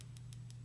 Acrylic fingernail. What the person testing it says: now it sounds kind of dull